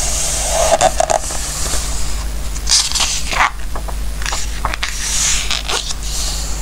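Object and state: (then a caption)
Glossy paper book pages. Fingertips stroke and rub the coated pages of an open glossy-paper book resting on a wooden table, then turn a page. Soft, bright papery swishes and light crackles rise and fall over a steady low hum, with a crisper rustle as the page turns.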